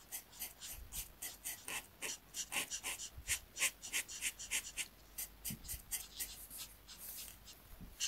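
A marker tip is rubbed over a thin paper coloring sheet lying on a mat in dense back-and-forth coloring strokes. About two dozen quiet, bright, scratchy swishes follow in quick, uneven succession, each fading almost at once with little low-end weight.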